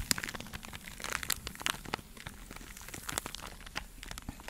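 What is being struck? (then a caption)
Foam sponge block scratched and tapped with long nails. A hand-sized, porous yellow foam sponge block, solid and soft, is held in one hand and scratched and tapped by the long acrylic nails of the other hand close to the microphone. The result is a dense run of quick, dry crinkling and crunching clicks with bright, hissy scratches and almost no ring. The sharp ticks come irregularly throughout.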